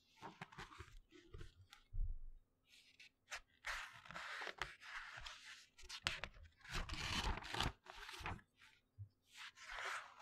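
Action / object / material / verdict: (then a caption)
scrape / glossy paper booklet / paper / none. A thin glossy paper brochure is held in both hands close to the mic while fingertips flip and rub its pages. The result is a run of bright, crisp rustling and crinkling bursts with soft low thumps between them, each swell fading quickly before the next page turn.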